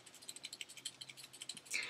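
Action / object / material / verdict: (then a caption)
shake / plastic multi-shade brow pencil / plastic / loose. A bulky, unopened 4-in-1 plastic multi-shade brow pencil in a light brown shade is shaken in the hand, giving a quick series of about sixteen light, bright plastic rattles with almost no low end, ending in a louder rattle. The rattling marks the pencil as flimsy: it feels too light for its size and seems like it could break apart if dropped on a hard surface.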